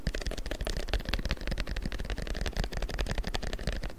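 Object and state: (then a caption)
Printed paper strip. A long, thin printed paper strip is held taut with both hands and tapped and rubbed with the fingertips. The result is a dense, continuous run of quick, dry taps and papery rustles with a heavy low thump beneath and a little bright crinkle on top, each tap dying away almost at once.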